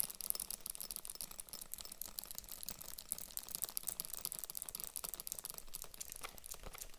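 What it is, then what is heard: Faux leather handbag. A small pink Matt & Nat vegan faux-leather handbag has its zipper pull handled first, then long nails tap and scratch across the front panel. The result is a quiet, dense stream of fast, dry, crinkly clicks and scrapes, bright and hissy up high with some low rustle underneath, and no ringing.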